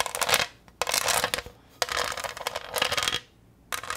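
A green, textured, pineapple-shaped plastic tray, thin and hollow, is held up and tapped and scratched with long green nails. Dense, bright scratching and clicking come in several bursts separated by short quiet gaps, with almost no low end.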